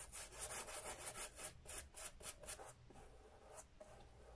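A small round bristle dauber brush with a wooden handle, held in the fingers, rubs cream in small strokes onto the upper of an empty brown leather Sperry Top-Sider boat shoe with a white rubber sole. A quick, steady run of bright, hissy brushing strokes scratches over the leather, then trails off into softer, quieter rubbing toward the end.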